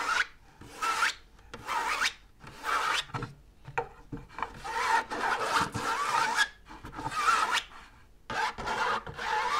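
Long nails scratch the smooth, white, stiff inner lining of a large hollow drum lampshade with a wire frame. Repeated dry, raspy rubbing strokes come in bursts separated by short pauses, with a bright, papery hiss and little low end.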